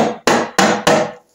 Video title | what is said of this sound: Norton Commando Engine Rebuild. Part 6: Primary Chaincase Disassembly | feel it's going now you can hear that plunking sound